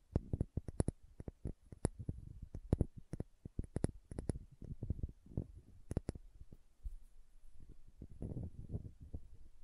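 Long nails tap and scratch a small dark green glass serum bottle with a dropper cap, making a quick, irregular run of sharp clicks. Each tap is very short with no ring, carrying a soft low thump beneath bright ticks. The scratching fills the gaps with quiet, dull rustling.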